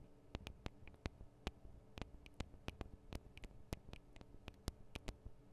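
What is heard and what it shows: Long acrylic nails tap on both of the small metal X/Y microphone capsules of a Tascam DR-40 recorder. About twenty sharp, dry clicks sound one after another at an uneven pace. Each is bright, dies away almost at once, and sits over a faint low hum and hiss.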